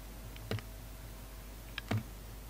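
A utility knife blade slices and scrapes the petal layers of a solid, palm-sized red and green poppy soap carved into a flower. Two short clusters of crisp, clicky cuts rise above a low, steady hum, each with a brief bright snap and a soft low thud that fades quickly.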